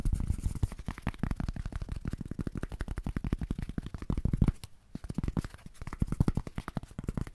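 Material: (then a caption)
Polyethylene foam. A small, thin, light white foam packing sheet, likely polyethylene, is held in both hands close to the microphone and tapped and scratched rapidly with fingertips and short nails. Dozens of quick, dull, low thumps run together with a soft scratchy texture and almost no ring. They pause briefly just before the five-second mark, then resume.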